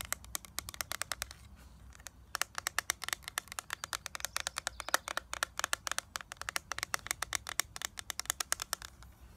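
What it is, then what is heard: Plastic eyeshadow palette tapped with nails. Long nails tap rapidly on a small eyeshadow palette, first on its clear plastic lid with a gold frame, then on the gold plastic back with its label. The result is a dense run of sharp, bright, clicky plastic taps that die away almost instantly, with a brief pause near the two-second mark.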